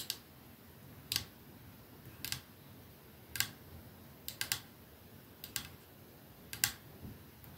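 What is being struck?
Metal and glass perfume bottle.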